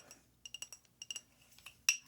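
Light taps on a glass scotch whisky bottle, a Glenmorangie Original, give a series of bright, clear glass clinks. Each has a high, sharp ring that dies away almost at once. The final tap is the loudest.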